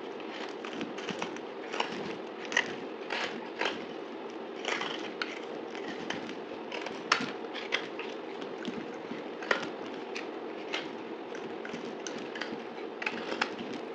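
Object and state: Dried soap bar.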